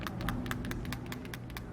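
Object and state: Loose battery rattling in a metal vape box.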